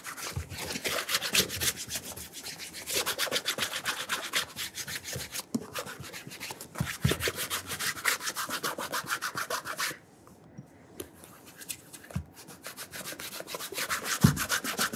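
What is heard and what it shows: A burgundy leather oxford dress shoe is held in one hand while its upper is rubbed with bare fingertips to work in cream. Quick, dry, bright rubbing strokes run in an uneven, steady rhythm. They briefly drop to near silence around the ten-second mark, then resume more softly and build again.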